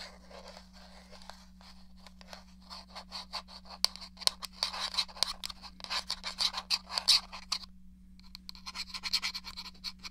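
Long nails scratch and tap the shell of a hollow, grey plastic SNES game controller, making a dense run of bright, dry scratches and clicks. The clicks build in intensity, stop briefly just before the eight-second mark, then resume over a steady low hum.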